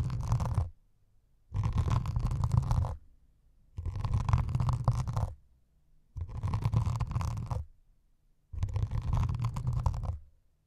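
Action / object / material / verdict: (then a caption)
scrape / melamine foam sponge with scouring pad / melamine foam / none. Metal needles scratch a white melamine foam sponge with a grey scouring pad top in five separate bursts of about one and a half seconds, with short silences between. The scratching is a dense, rough rasp, deep and rumbling at the low end with a gritty mid-range hiss above it.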